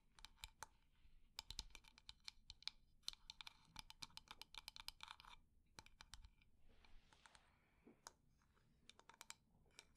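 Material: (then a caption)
Wood. A wooden decorative container is tapped quickly and at medium speed, producing sharp, dry, bright clicks that die away almost instantly. Between the tap runs, its textured surface is scratched with a soft, hissy rasp. Wood-on-wood knocks from the lid are also heard.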